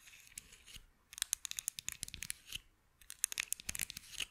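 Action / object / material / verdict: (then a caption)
scrape / small light-wood toy scissors / wood / none. Long acrylic nails scratch and tap small, solid light-wood toy scissors held up close to the microphone. Bright, crisp scratching and quick clicking taps come in busy clusters, broken by two short quiet pauses. The sound is thin and high, with almost no low end.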